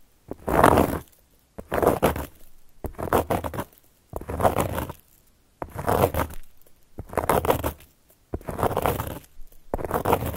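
Long gold metal claw nail caps scratch across a solid, round, flat cork board in a series of separate strokes. Each stroke is a dry, rough, grainy scrape centered in the midrange, with short silent gaps between strokes and no ringing afterward.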